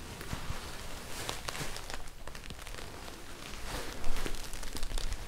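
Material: Synthetic fabric.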